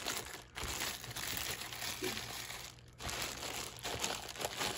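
A hand squeezes and rubs the thin plastic film sleeve wrapped around a stack of clear plastic cups resting on a black surface. This produces continuous bright, crisp crinkling with two brief quieter pauses.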